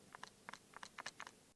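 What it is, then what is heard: Smartphone with loose-moving camera lens (normal, not a defect). A Xiaomi 17 Ultra smartphone is shaken so its internal telephoto camera lens moves back and forth, producing eight quick, light, dry clicks in pairs with almost no ring. This lens movement is intentional, like unlocked professional lenses that rattle, and is not a defect.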